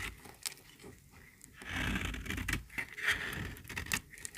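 A small, solid, very dry pink bar of soap is held in the hand and cut and scraped with a metal utility-knife blade. Quiet, crisp scraping and sharp bright clicks build into a louder, rasping shave in the middle, centered near 1.8 kHz with some low rumble beneath. Short snapping cuts punctuate it toward the end.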